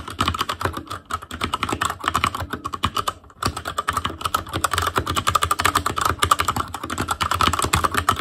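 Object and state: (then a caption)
Plastic mechanical keyboard. Fingertips of both hands type rapidly on a full-size ASUS ROG Claymore Core plastic mechanical keyboard with plastic keycaps on Cherry MX Red switches, a metal plate, a hollow case and RGB backlight. Dense, quick clacking keystrokes run throughout with a brief pause near the middle, each tap short and dry with little ring.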